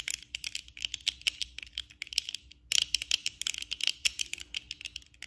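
Long acrylic nails tap rapidly with both hands on the lenses and frame of worn black plastic eyeglasses. The result is a dense stream of bright, dry clicks with almost no low end and no ring, with a brief pause partway through before the tapping picks up again.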